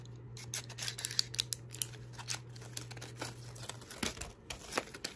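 A small, flat Spry gum box made of cardboard and paper is held in the hand and handled with fingertips and nails, gripping, tapping and scratching it. The result is a string of quick, dry, bright clicks and scratchy crinkles over a faint low hum.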